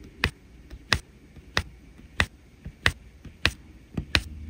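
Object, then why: Resin rhinestone drills on an adhesive canvas, pressed with a plastic pen. A plastic drill pen taps resin rhinestone drills one after another into the blue area of a flat adhesive diamond painting canvas. Seven short, bright, dry clicks come at an uneven, unhurried pace, with fainter taps in between and a low background hum.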